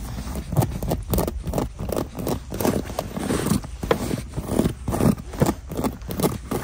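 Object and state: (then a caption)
Faux leather quilted boot. Long nails scratch and tap the quilted upper of a black quilted faux leather winter boot sitting in its cardboard shoebox. Dull, quick taps mix with rough scratching strokes in a steady, uneven rhythm. The sound stays muffled and low-heavy, with almost no bright edge.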